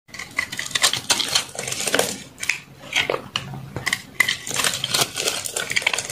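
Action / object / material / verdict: scrape / bar of soap scraped with a metal knife / soap / none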